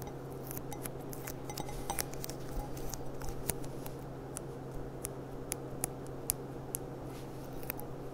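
A clear, thin, hollow, empty glass goblet with a gilt rim and a gold bead on its stem is tapped on the bowl with long nails while being turned in the hands. Many short, bright clicks and ticks sound over a steady low hum, each dying away almost instantly.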